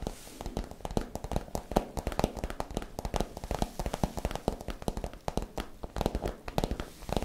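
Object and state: Holographic plastic pouch, empty.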